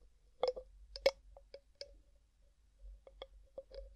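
Fingertips and nails tap and twist the gold metal screw lid on a medium, clear glass jar that is hollow and mostly empty. Eight short, irregular clicks and taps sound with a ringing tone in the mid-range and bright edges, separated by quiet scraping from the twisting lid.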